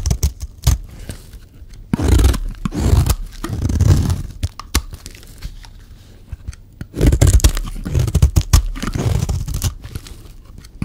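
A hand-held solid white dry bar of soap is scraped along its edge with a metal knife blade, giving dry, tearing, crumbly scrapes. The scraping comes in two longer passes with a short, quieter stretch between, and the sound is heavy in the low end with little brightness.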